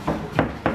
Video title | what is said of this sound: East London Hayat Wadonia by Hakim Kahtan | you can hear it's Hollow so underneath this wood are metal pillars